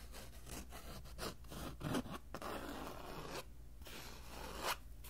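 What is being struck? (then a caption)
Cloth-covered hardboard book cover. Fingertips and short nails rub and scratch across the textured surface of a flat, dark brown, cloth-covered hardboard cover from an old band music book, about hand-sized and solid, held in both hands. The result is a dry, zipper-like scraping and rasping that swells in short brighter strokes, over a faint steady low hum.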